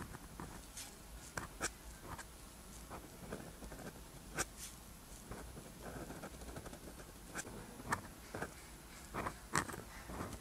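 A ballpoint or gel pen tip scratches across a flat sheet of rough-textured white paper while writing black Korean characters. Soft, continuous scratchy rasping of the strokes is broken by several sharp, bright ticks as the tip lands and lifts. The sound stays quiet and close, over a low steady background hum.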